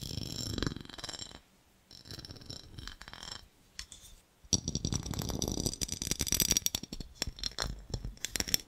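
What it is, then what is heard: Glass jar tapped and scratched. A small, empty, clear ribbed glass jar with a gold lid is tapped and scratched with fingernails close to the microphone. The sound is a run of bright, dry clicks and raspy scratches with almost no ring, pausing briefly before a denser, louder stretch of tapping and scraping.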